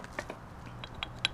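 A worn, loose steel driveshaft U-joint on a Toyota Tacoma is worked by hand, giving six short, sharp metallic clicks and knocks from its play. The joint is worn and due to be replaced with an OEM part.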